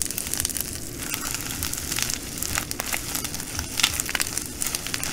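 Both hands with long nails squeeze and scrunch a full clear plastic bag of green glass bugle beads. The beads crunch and shift in a dense, bright, steady crackle of tiny clicks and crinkles, with a few sharper snaps, over a faint low hum.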